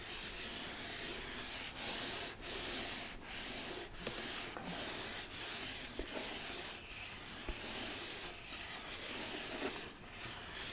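Fingertips and nails rub and scratch the textured surface of a hollow red glitter cardboard gift box. The result is a steady, bright, hissy scraping with rhythmic short breaks between strokes and occasional tiny clicks.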